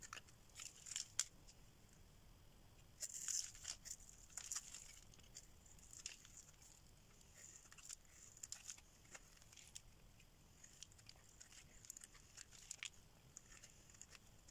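A solid orange oval bar of dry soap, held in the hand, is carved and scraped with a metal blade, peeling off curls of soap. The sound is a quiet, dry, bright crackling and scraping, with short crisp bursts and louder patches of rasping over a faint high hiss and almost no low end.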